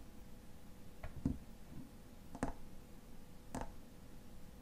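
Fingernails tap the silver metal cap of a tall frosted glass lotion bottle, making a few sparse, irregular taps over a quiet background. Each tap is a short, dry click with a brief bright tick on top and a low knock underneath, dying away almost at once.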